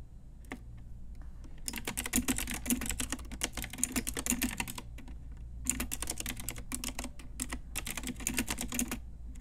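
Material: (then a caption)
Plastic. Long nails and fingertips type on a full-size pink Ajazz typewriter-style retro mechanical keyboard with round plastic keycaps on a hollow plastic case. Quick bursts of bright, sharp plastic clicks with a slight hollow knock come in two runs separated by a brief pause, over a faint low hum.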